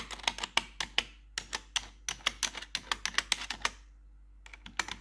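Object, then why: Plastic computer keyboard keys. Long pointed metal nail tips worn over blue gloves tap and scratch the keycaps of a black plastic RGB backlit computer keyboard. A quick, uneven run of sharp, bright clicks fills the first few seconds, then stops briefly before a few more taps resume near the end.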